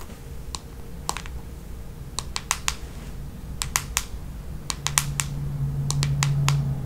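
Long nails tap and scratch the smooth red plastic back of a hollow paddle hairbrush, making irregular, sharp, bright clicks that die away almost instantly. The clicks sit over a steady low rumble and hum that grows slightly louder toward the end.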